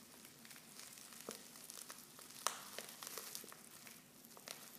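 Fingers with long nails crinkle a silver foil Pickwick tea pouch that is half full of loose tea leaves and open at the top. A steady, bright, crackly rustle fills the clip with scattered sharp ticks, and one louder snap of the foil stands out near the middle.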